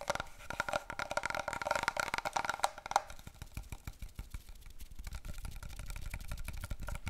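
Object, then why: Cardboard paper roll tube. A long, hollow brown cardboard paper roll tube, held diagonally and then horizontally, is tapped rapidly by both hands with fingertips and long nails. The first three seconds give quick, hollow, resonant taps with a mid-pitched ring. The rest turns into a softer, duller, low-heavy patter of dense taps.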